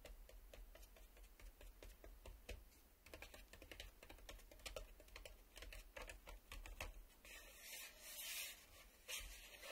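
Fingertips and nails scratch and tap across the face of a black plastic VHS cassette lying flat on a table. Quick, dry clicks and taps come in a steady irregular run, and toward the end they give way to bright, hissy scraping.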